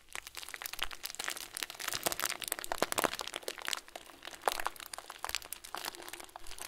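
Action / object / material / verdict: scrape / plastic bag filled with small foam beads / plastic, foam / none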